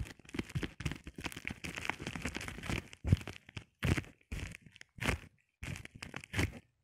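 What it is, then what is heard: Plastic bubble wrap. A flat sheet of clear plastic bubble wrap is scratched and rubbed with short painted nails and fingertips. Dense, crinkly scratching and rustling comes in bursts separated by brief silences, with soft low thumps under a bright, crackling texture.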